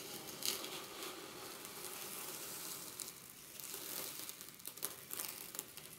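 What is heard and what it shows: Fingertips dig and rake through a glass dish full of small quartz pebbles and gravel, making the stones grind and rattle. The sound is a dense, bright, crackling rustle with sharper clicks scattered throughout, and almost no low end.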